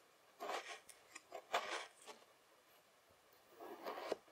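A white plastic fork cuts and scrapes lines through a spread-out layer of beige kinetic sand while the other hand rests on the sand. Several soft, gritty scraping strokes are heard, each a short crumbly rasp in the mids with a little bright grain and no low end, separated by near-silent pauses with faint small ticks. The strokes are quiet and close, ending abruptly with almost no ring.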